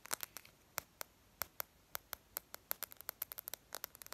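Long painted lavender acrylic nails tap fast with their tips on the glass touchscreen of a handheld smartphone in a case with a yellow-green edge, held up with the screen facing out and a cartoon wallpaper showing. About two dozen sharp, bright, dry clicks come in an uneven rapid flurry, each dying almost instantly with hardly any low end, and faint scratchy touches may fall between them.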